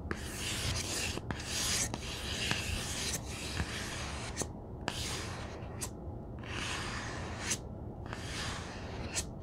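Hands rub the page edges along the side of a large, solid and heavy black cloth-covered hardcover omnibus, then flat palms and fingertips rub across its cover. The result is a run of broad, bright rasping swipes with brief gaps between strokes, a few sharp ticks, and a steady low rumble underneath.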